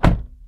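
A 2023 Kia Niro's door is closed from the inside, giving a single deep, solid thunk that is mostly low-frequency. The sound fades within a fraction of a second, and the door shuts with a solid sound.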